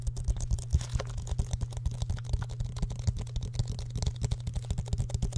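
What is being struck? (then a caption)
Small plastic water bottle. A small clear plastic water bottle with an orange-red plastic cap, of unclear fullness, is held close to the microphone and tapped and handled with the fingertips. A quick, uneven stream of short, dull taps and light clicks sits over a steady low hum, with most of the sound low and muffled and very little brightness.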